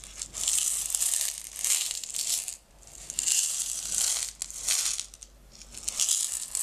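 A small clear plastic jar with a white screw lid, partly filled with small blue-green decorative stones, is held in hands with long red nails and shaken. The stones rattle in bright, hissy bursts of shaking separated by brief quieter pauses, with almost no low end.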